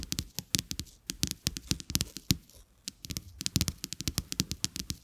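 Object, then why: Coated paper playing cards. Fingertips and nails tap and scratch two flat, thin, solid coated-paper playing cards with a checked back lying on a carpet. About thirty quick, dry clicks with bright, crisp tops and a soft low thump come in uneven bursts. Each one dies almost instantly, with brief faint scraping between them.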